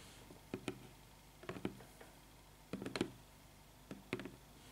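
Fingertips and long red-painted nails tap and scratch the top of the lid of a closed, medium-sized, black printed cardboard Biotyfull subscription box, which sits on a table and is hollow, likely holding products. Nine short, dry, hollow taps land in irregular pairs and small clusters, each dying away almost instantly, with faint scratching between them against a quiet background.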